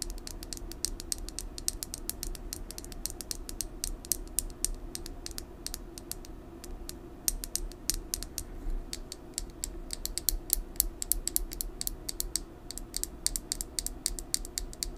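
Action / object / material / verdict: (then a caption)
tap / plastic lip gloss tube / plastic / none. Long nails tap and scratch along a small hand-held plastic lip gloss tube with a red body and metallic cap, hollow and filled with gloss. Rapid, sharp, bright clicks and scratchy ticks run steadily over a low, even background rumble.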